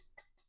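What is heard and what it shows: A gold-tone Ballon d'Or trophy replica is tapped three times, giving short, quiet ticks with a faint ring near 2 kHz that dies away almost at once. The first tap is the loudest.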